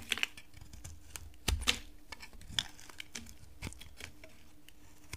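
A utility knife carves a solid, dry pink bar of soap held in a long-nailed hand, giving short, crisp scraping clicks and brittle snaps over a quiet background. The cuts are bright and dry with almost no ring, with a few louder cracks as pieces break away.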